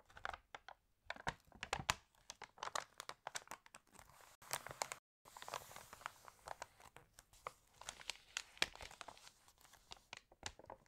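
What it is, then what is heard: Glossy paper catalog pages being crinkled. Pages of a glossy paper fashion catalog are flipped and crinkled while fingertips scratch across the paper. Quiet, bright, dry crackles and rustles come in rapid bursts, with a brief silent gap near the middle.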